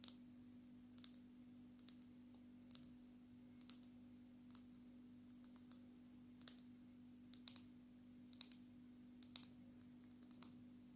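Long natural nails of both hands tap the glass back of a black smartphone held upright, making quick, sharp, bright clicks that come singly and in close pairs throughout. Each tap is crisp and dies away almost instantly. A faint, steady low hum sits underneath the quiet tapping.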